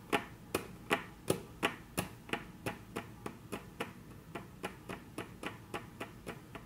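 Very long natural nails tap on a flat, solid, dark brown wood-grain tabletop, making 21 short, crisp clicks at a quick, slightly uneven pace. The first few taps are the loudest, and the later ones stay softer and even. Each has a bright attack and a brief, dry decay with almost no ring.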